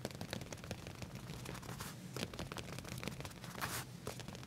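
Short nails scratch and tap on black leather pants laid flat, just above the back pocket, giving a steady run of quick, dry clicks and rasping scrapes. A low hum sits underneath, with brighter bursts of scratching near the middle and end.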